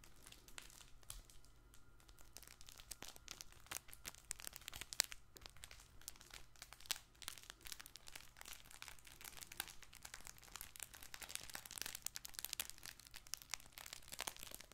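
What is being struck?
Stuffed fabric baby ball toy with crinkle filling.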